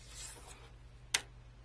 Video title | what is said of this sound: A Beginner Tries Precious Metal Clay-Part 2 | It sounds like metal. Well, because it is. These are metal.